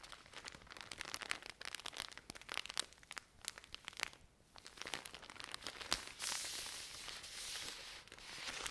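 Long nails scratch and tap the plastic film of a full pack of cotton pads, making quick, bright crinkling clicks and crackles with almost no low end. The taps thin out into a brief quiet moment just past four seconds, then return, and from about six seconds a steadier, hissy scratching takes over.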